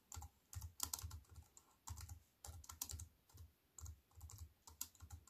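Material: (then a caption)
Plastic. A compact computer keyboard with black plastic keys on a silver aluminium frame is typed on with fingertips and long white nails. Quick bursts of clicky keystrokes come in short runs with brief pauses between them, each press pairing a soft low thump with a bright, crisp tick that dies away almost at once.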